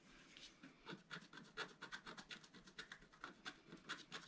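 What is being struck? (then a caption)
Black-coated scratch-art paper scratched with a wooden stylus. A wooden stylus scratches a broad band into the black coating of a scratch-art card lying flat on a table, using repeated strokes. About twenty short, dry, raspy scratches come in a quick, uneven rhythm, each with bright high hiss and almost no low end. The sound is quiet overall, and each stroke stops cleanly with no ring.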